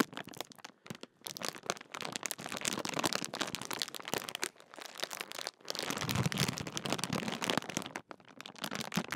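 Fingertips crinkle and unroll the top edge of a large Walkers crisp packet made of thin metallised plastic film, hollow with crisps inside. The result is dense, bright, crackling crinkles with sharp, short snaps. Brief pauses come around 1, 5.5 and 8 seconds, and the crackling swells loudest just after 6 seconds.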